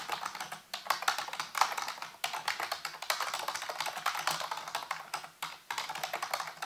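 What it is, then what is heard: Plastic computer keyboard being typed on. Fingertips type rapidly on a full-size black plastic computer keyboard with hollow keys set on a white base. The result is a dense run of quick, bright clicks and taps with a few short pauses between bursts.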